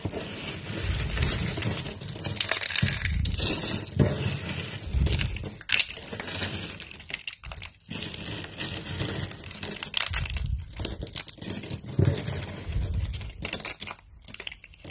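Fingertips and nails tear and crush thin, brittle, dry translucent amber soap strips and shavings over a pile of broken pieces. The result is a continuous run of dense, bright crunching and crinkling snaps with a low thumping body, punctuated by brief quieter pauses.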